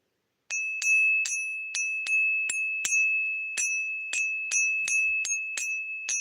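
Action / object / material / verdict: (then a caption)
flick / silver coin / silver / real. A silver coin is given a ping test, struck 13 times in quick succession. Each strike brings a bright, sustained bell-like ring near 2.6 kHz that lingers under the next tap, as expected of genuine silver.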